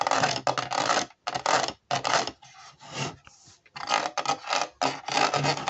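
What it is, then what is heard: Plastic puzzle shoe sole scratched. Fingertips and nails scratch along the horizontal ridges of the white ridged sole of a hollow plastic jigsaw-puzzle Converse-style shoe, a Ravensburger 3D puzzle. Bright, raspy scraping comes in uneven bursts separated by brief silences, with a quieter, softer rubbing stretch in the middle before the loud rasping returns.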